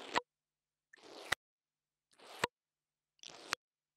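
An interdental brush scratches the top of the metal grille on a small black plastic mini lavalier microphone. Four short, bristly scraping strokes are heard with silence between them. Each stroke builds slightly and ends in a sharp, bright tick.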